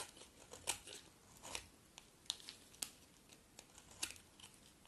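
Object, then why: Bar of soap cut with a metal blade. A metal utility blade scrapes and cuts dry flakes from a solid red, partly carved bar of dry soap held in the hand. The sound is quiet, bright, crisp scraping with sharp crunchy snaps that stop dead with no ring, and almost no low end.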